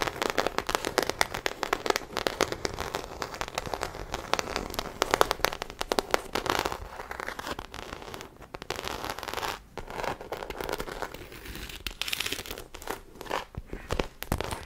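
Long acrylic nails scratch the textured body of a small black croc-embossed faux leather shoulder bag held close to the microphone. The result is a dense, crackly stream of rapid scratching and rustling, mostly in the mids, with brief pauses between the strokes.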